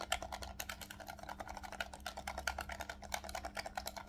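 A hollow black plastic Nintendo Switch Pro controller is held in both hands while fingertips rapidly tap and click its shoulder buttons and triggers. The result is a dense, fast stream of short, dry plastic clicks with bright edges over a faint, steady low hum.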